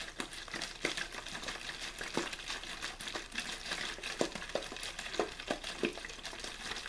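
A clear, thin plastic water bottle with a blue label, hollow and apparently empty, is gripped in the hand, shaken and squeezed. It gives steady crinkling and crackling with many sharp, bright snaps over a broad hiss. The snaps come in an irregular stream for the full seven seconds.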